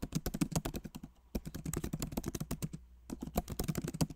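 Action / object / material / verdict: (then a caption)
tap / plastic laptop keyboard keys in a metal body / plastic / none. Both hands type rapidly with their fingertips on a backlit MacBook Pro Magic Keyboard, with plastic keycaps set in an aluminum body. The result is quick, soft, low-toned key taps in dense bursts, separated by a couple of brief pauses.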